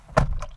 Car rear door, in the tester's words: i'm liking the solid sound of that door shutting